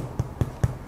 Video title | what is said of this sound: Recette de pain maison avec un MOF Boulanger : Joel Defives | Pour voir si c'est cuit, si ça sonne creux, c'est que le pain est cuit.